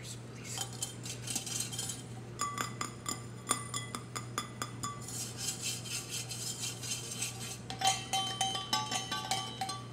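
A large lilac insulated tumbler of powder-coated stainless steel, hollow with a handle and lid, is held in the hands and tapped with fingertips and nails, then its lid is handled at the end. Many quick, bright metallic taps and clinks ring only briefly over a steady low hum.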